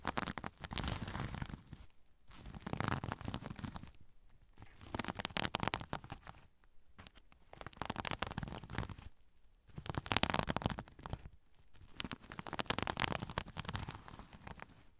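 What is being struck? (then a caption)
Sequin-covered fabric pouch. Fingernails scratch the sequins on a soft sequin-covered zipper pouch held over a recorder. Dense, raspy crackling and scraping comes in repeated bursts of a couple of seconds each, separated by brief quieter gaps. The sound is broad, from a low rumbling body up to bright, crisp high detail.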